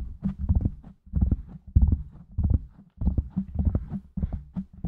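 Fingertips of both hands quickly tap and scratch around the sides of a black foam windscreen on a silver microphone. The result is bursts of deep, muffled thumps and soft rustling scratches, almost entirely low in pitch with no bright edge, separated by brief quiet gaps.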